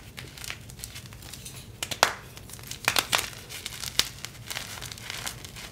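Bare fingertips and hands crumble, squeeze and rub chunks of orangey-red dyed SPRI gym chalk (magnesium carbonate) into powder on a glass surface. Soft, bright, dry crinkling and gritty rubbing are broken by irregular sharp crackling snaps as the pieces give way.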